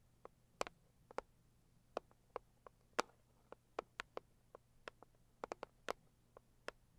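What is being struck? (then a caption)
Rigid cardboard gift box. Long purple acrylic nails tap and scratch the lid of a medium-sized, hollow, pink floral Saviland rigid cardboard gift box. The result is a quiet, irregular series of short, dry clicking taps, each a sharp, bright tick centered in the midrange. The taps stop instantly with no ring and have almost no low end.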